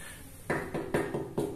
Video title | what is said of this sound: Review Tangki Scorpio Ori copotan, Siap Pasang di new Megapro | kondisi kosong ya teman-teman suaranya padat jadi ... full plat besi ya bukan cover